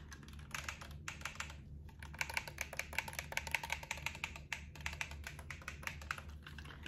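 Fingertips press the buttons of a translucent black plastic gamepad held in both hands, making rapid, bright plastic clicks in quick bursts with brief pauses between them. Each click is short and dry, over a faint steady low hum.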